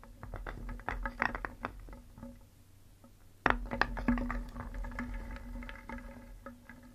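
A wooden spoon stirs a wooden bowl full of painted solid wooden cones and balls, then lifts out a ball. The pieces clack against each other in quick, uneven clusters of short, dry knocks with a steady low hum underneath. A louder knock comes just past the midpoint, followed by a faintly ringing tone.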